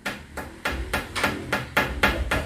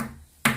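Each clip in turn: First: Nine quick, hard taps with a bright, glassy click that dies almost at once on a thick glass stove top. Second: One bright, tinny knock with a faint low hum under it, fading in about a tenth of a second: thin zinc sheet.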